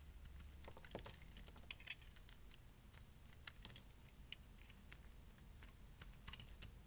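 A small metal blade shaves and scrapes flakes off a palm-sized bar of dry, solid dark pink soap held in one hand, with the curls falling onto a pile of shavings. Quick, crisp, bright scraping ticks sound in an irregular patter over a faint, steady low hum, each one stopping almost instantly.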